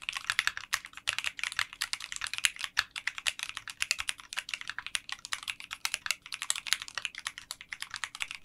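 A 60% mechanical keyboard with translucent pink polycarbonate keycaps in a clear case is typed on continuously with fingertips. The result is a rapid, steady stream of short, bright, clacky keystrokes with almost no low end, each click dying away instantly.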